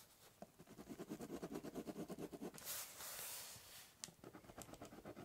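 The tip of a ballpoint pen scratches lines across a large, hollow, brown corrugated cardboard box, making quick, rhythmic back-and-forth strokes with a papery rasp and bright edges. Midway the strokes give way to a longer, smoother bright hiss, then a sharp tick sounds and the quick scratching resumes.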